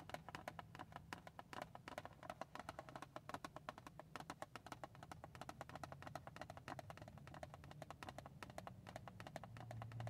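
Long painted nails tap rapidly on the top of a small, hollow printed cardboard tissue box resting on a car seat. About 76 short, dry, hollow clicks come in a fast, steady stream over a low, constant hum. Each tap dies away almost instantly.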